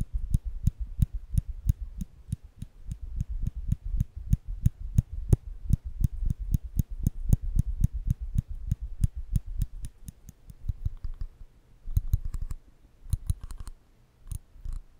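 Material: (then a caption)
Steel. Small stainless steel nail clippers with the lever open are held by the fingertips over a microphone, and the lever is pressed and released over and over. The result is a fast, steady run of short metallic clicks, each with a dull low thump and a bright ticking edge. The clicks thin out into a few scattered bursts near the end.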